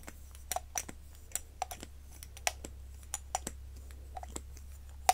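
A soft, hollow, pink silicone cat-shaped cover on a cosmetic stick is held in the hand and tapped and rubbed with fingertips and long nails. About eighteen short, dry clicks and taps come at uneven intervals, with bright nail ticks and a muted hollow tone near 750 Hz. A steady low hum runs underneath throughout.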